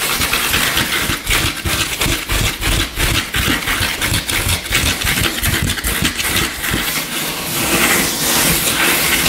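Short fingernails scratch and rake fast across the grain of a solid, flat, light-colored wooden tabletop, with some tapping mixed in. The result is a dense, bright, rasping scratch with a quick, uneven rhythm, punctuated by soft low knocks from the taps.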